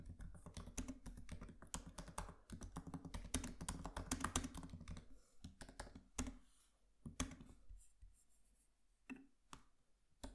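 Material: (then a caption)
Plastic. Both hands tap with their fingertips on the black plastic keys of a MacBook Pro laptop keyboard with an aluminium body. Rapid, dense typing fills the first half with soft, low-weighted clicks and thumps, then slows to sparse, isolated key taps with quiet gaps between them.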